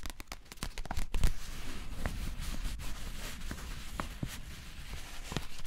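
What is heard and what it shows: A closed, filled, flat Pukka bio-latte pouch of printed paper packaging, likely foil-lined, is held in both hands and crinkled and tapped with long painted nails. Dense, soft crinkling runs throughout, punctuated by short, crisp taps that are quicker and busier at the start. The sound stays quiet and close, with brief bright clicks over a low rustle.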